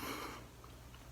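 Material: Nothing is struck.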